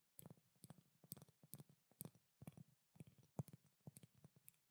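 A pink glass perfume bottle with a silver cap is tapped with long dark nails, giving a steady run of quick, quiet taps in small clusters. Each tap is a dry, short click with a low body and a bright edge that dies away almost instantly.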